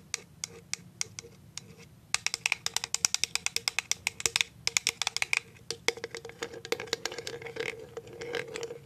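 A clear plastic cashew jar is tapped on its side and on its clear bottom with paper clip nails. Sparse light clicks give way at about two seconds to a rapid, dense run of sharp, bright taps with almost no ring or low end, then settle into a softer, busier clicking toward the end.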